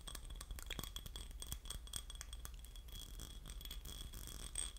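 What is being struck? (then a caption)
Small ribbed glass votive holder. A small, hollow, empty, clear ribbed glass votive holder is held in both hands and scratched and tapped with short fingernails and fingertips. Dense, rapid scratching mixes with light, bright glassy clicks and clinks, each dying away almost at once, over a steady low hum. A faint high ringing tone runs through the clip.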